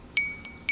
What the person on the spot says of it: it sounds like glass, but it's not. It's ceramic.